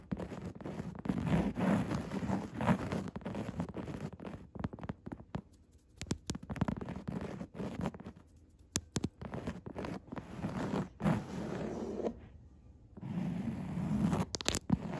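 Long red nails scratch and tap the dark grey, coarse woven upholstery fabric of a padded chair seat. Soft, dull, low scratching rustles alternate with quick sharp taps, broken by brief quiet pauses.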